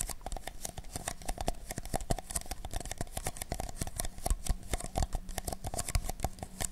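Fingertips rapidly scratch and tap the outer walls of two identical hollow, empty paper cups, black outside and white inside, held close to a microphone. The result is a dense, continuous stream of short, dry, crinkly paper taps and scrapes with a soft low thump beneath them.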